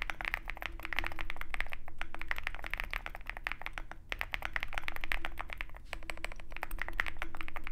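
Continuous typing with both hands' fingertips on a compact 65% mechanical keyboard with white plastic keycaps and a dark metal case, resting on a desk mat. Rapid, uneven clicky keystrokes overlap with short, dry, bright clacks and no ringing tail, dipping briefly a few times before resuming.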